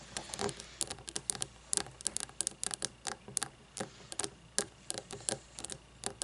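Long fingernails tap a frosted glass candle jar filled with wax, lying on its side. Quick, irregular bright clicks come in loose clusters over a quiet hiss. Each tap is dry and stops almost at once, with no ring.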